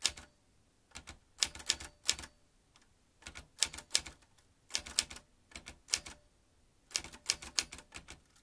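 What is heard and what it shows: Fingertips of both hands type fast on a vintage metal manual typewriter with round keys, producing dense bursts of sharp, bright clacks. The keystrokes come in quick clusters separated by brief pauses, and each strike dies away almost instantly.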